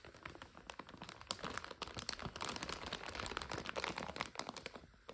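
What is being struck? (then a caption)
Plastic bag of dry egg noodles. Long nails tap and crinkle a full plastic bag of dry egg noodles and its paper label as it lies on a couch. The result is a steady stream of quiet, bright, crisp crackles and clicks with little low end, each tick dying away almost instantly.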